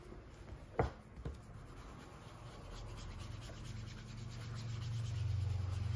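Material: Leather.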